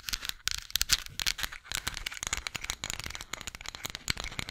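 A flat, solid, light-wood spatula is scratched and tapped with long nails close to the microphone. Dense, bright, dry clicks and scratchy rustles come in quick succession, each dying away almost instantly, with little low end.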